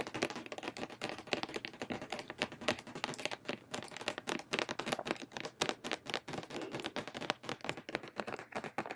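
A medium plastic foaming hand-soap pump bottle, mostly full of liquid, is held in both hands and tapped rapidly with long painted nails. The result is a steady stream of quick, bright, dry clicks with almost no low end and very short ring.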